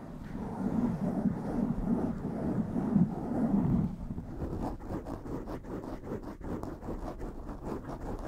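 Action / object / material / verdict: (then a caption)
scrape / foam microphone windscreen / foam / none. A blue foam microphone windscreen is gripped in both hands and scratched with long nails, making a dense, muffled, bassy rustle that is loudest over the first four seconds. It then drops to a quieter stretch of quick, irregular scratching strokes with a dull, low tone.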